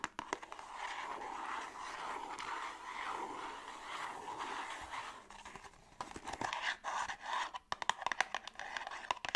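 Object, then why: Small cardboard box. Long acrylic nails scratch and tap a small, hollow, closed printed cardboard La Roche-Posay skincare box held in both hands. For the first five seconds a steady, papery scratching hiss centred around the midrange plays out. It gives way to a run of quick, dry, hollow taps and brief scrapes with almost no low end and no ring.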